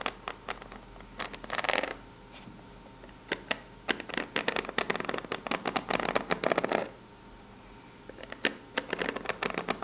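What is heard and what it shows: Long pink nails scratch the ribbed side of a small corrugated cardboard box. Dry, bright scratching comes in bursts, mixed with sharp little clicks and quiet pauses between strokes.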